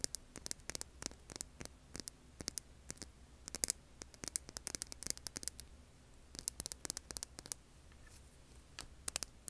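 Long polished nails scratch and tap the craggy surface of a large, solid, rough beige rock held in both hands. Dozens of quiet, bright, dry clicks and short scratches come in uneven bursts. A low steady hum and faint hiss run underneath throughout.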